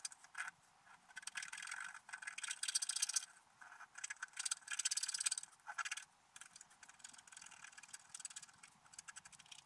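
A wooden stylus scratches the coating off a flat, black wax-coated scratch art card lying on a table, working around a unicorn and flowers while the other hand steadies the sheet. Dry, bright, rapid scratching comes in bursts separated by short, quieter pauses, with no low-end body.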